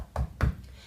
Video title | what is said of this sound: How to chose the correct DRILL BITS and WALL FIXINGS | give it a little knock you can hear that's pretty solid I've got a solid wall